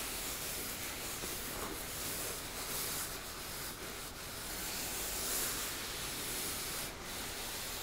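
Flat fingers and nails rub across the embossed fabric of a teal cosmetic makeup pouch. The result is a steady, soft, bright scratching hiss with slight irregular swells and brief textured strokes, continuous throughout with no distinct separate hits.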